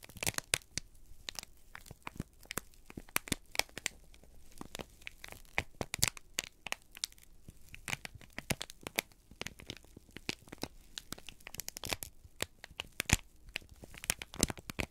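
A single thin, flexible sheet of crumpled brown kraft paper is held in both hands over a pile of shredded paper and squeezed, bent and crinkled with fingertips and thumbs. Dense, sharp crackles and crinkles fire in quick irregular bursts throughout, bright and dry with almost no ring, over a quiet low hum.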